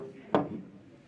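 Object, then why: Aluminum throttle body housing. A single sharp knock on the aluminum housing of a throttle body gives a hard, dull metallic tap that fades within a fraction of a second. It sounds louder and harder than the knock on the molded plastic part just before it.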